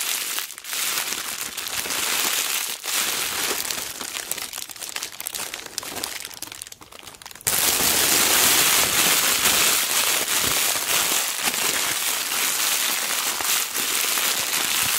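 A thin sheet of clear cellophane wrapping is scrunched into a ball in the hand, spread out, then crumpled again, squeezed and crinkled by fingers with long black nails. Dense, bright crackling and crinkling runs throughout, quieter and more scattered in the first half, then jumps to a louder, continuous hiss-like crinkle at about 7.5 seconds.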